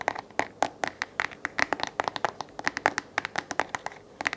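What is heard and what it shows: Fingertips and nails scratch and tap the hollow oval base of a small white plastic LED desk lamp with a flexible gooseneck, held in hand. About 27 quick, dry plastic clicks and scrapes follow in an uneven run, each a hollow tick centered near 820 Hz with bright edges and almost no ring.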